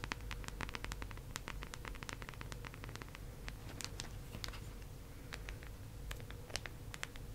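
Long acrylic nails tap and scratch the face and rim of a teal, round, hollow plastic disc case held in both hands. Rapid, sharp, bright clicks and short scratchy strokes come in quick, irregular bursts over a steady, low background rumble.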